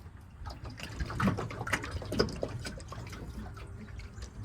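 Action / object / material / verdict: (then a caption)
shake / fiberglass boat hull compartment / fiberglass / wet. Water trapped between the stringers of an old Aquasport 196 fiberglass skiff hull sloshes as the hull is moved, giving irregular low, muffled gurgles and splashes. Drilling access holes confirms water was trapped in the compartment, and it is siphoned out.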